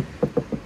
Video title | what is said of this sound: Another Project Car | Pag kinatok mo, para na siyang may palaman.